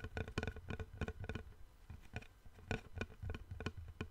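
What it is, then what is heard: Wooden plank. Fingertips and nails tap and scratch along the surface of a long, flat, light-coloured solid wooden board held in both hands above the microphone. The result is an irregular run of short, dry knocks, each with a low thump and a faint bright click that dies away almost instantly, with soft scratching between the taps.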